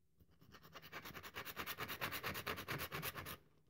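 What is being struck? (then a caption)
Bar of soap. A rectangular, solid, cream-colored dry bar of soap held in one hand is scraped and crumbled with long acrylic nails, and the crumbs fall onto a white table. About twenty quick, bright, crisp scratches build in a steady rhythm for roughly three seconds, then stop abruptly.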